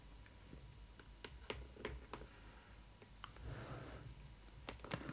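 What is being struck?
Cardboard box.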